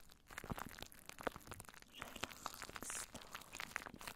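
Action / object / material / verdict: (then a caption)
scrape / plastic cling film stretched over a microphone / plastic film / none. Long nails scratch down over clear plastic cling wrap stretched across a microphone. The result is a dense run of close crinkling, crunching and scratching, with many quick sharp ticks and brief bright hiss.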